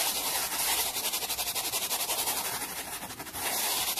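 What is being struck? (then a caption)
Small wooden board. A black-bristled brush held by the fingertips rapidly brushes a small solid wooden board resting on a towel. The result is a bright, hissy scratching made of fast, repeated strokes at a fairly steady loudness, with almost no low end.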